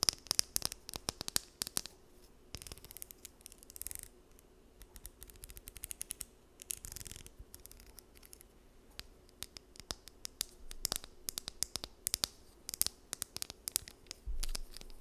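Long nails scratch and strum the teeth of a small, solid blue plastic wide-tooth comb, producing rapid dry, bright clicks and ticks that stop instantly with no ring. Brief raspy scraping passes appear between the clicks, and a dull low thump comes near the end.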